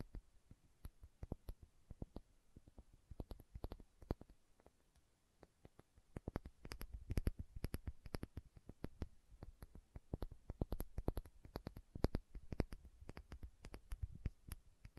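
Long nails tap and scratch the body and bottom of a small filled glass condiment bottle with a red plastic cap. Quiet, dull taps with very short decay and faint bright clicks come in irregular bursts. After a sparser pause around the fifth second, the tapping grows denser and louder.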